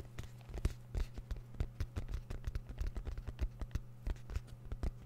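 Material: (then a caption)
Fabric over hard shell. A small black fabric-covered, semi-rigid hard-shell zip case, hollow and closed, is held up close and scratched and tapped with the fingertips of both hands. Quick, soft, dull taps and scratches patter unevenly over a steady low hum. The sound is mostly deep and muffled, with little high brightness.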